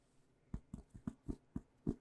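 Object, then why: Cloth-covered book. Fingers tap on a cloth-covered book full of blank pages, making eight soft, dull taps in about two seconds. Each tap is short and muffled, with most of its energy in the low range and almost no ring after it.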